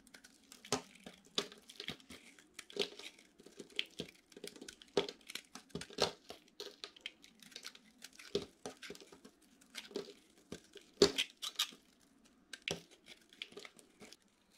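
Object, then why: Bar soap scraped with a metal knife. A metal utility knife scrapes and cuts brittle shavings from a solid orange dry soap bar that is partly gold-coated, and the flakes pile up. Dozens of short, dry, crunchy crackles and scrapes come in irregular bursts, bright and crisp with very little low end. Each cut stops almost instantly, over a faint, steady low hum.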